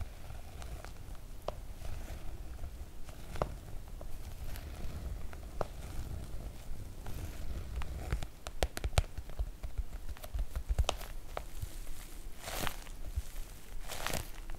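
Long nails of both hands tap and scratch the glossy coated fabric of a floral PVC-coated oilcloth make-up bag. Soft, irregular tapping and scratching sit over a low, rumbly bed, with sharper clicks around the middle and brief bright, scratchy swishes near the end.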